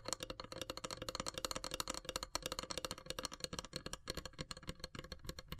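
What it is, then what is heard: Carved wooden incense box. Long silver nails tap quickly on the pierced lid of a long, hollow, carved wooden incense box. The result is a dense, steady run of short, dry, bright clicks with a faint hollow body beneath them. Each click dies away almost instantly.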